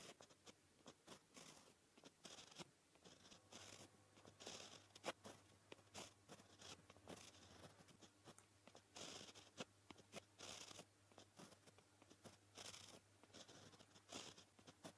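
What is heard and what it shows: A white gel pen tip scratches across a flat, solid black paper sheet in writing strokes. The quiet, dry scratching comes in many short, bright bursts with faint tapping and a low steady hum underneath.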